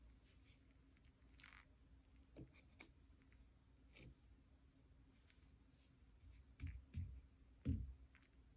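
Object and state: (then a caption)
Kinetic sand being sliced. A white ceramic kitchen knife blade slices and scrapes through a soft, solid mound of pink kinetic sand on a light tray, breaking off crumbly layers. The sound is quiet, low, and muffled: soft crunchy cuts and faint gritty scraping over a steady low hum, with the strongest thuds near the end.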